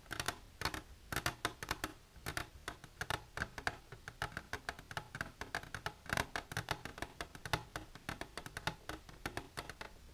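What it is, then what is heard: Hard plastic container tapped with fingernails. Long silver nails tap rapidly on the wall of an empty, transparent hard plastic container held upright. The result is a steady stream of short, dry, bright clicks with a hollow tone around 1.6 kHz, each dying away almost instantly.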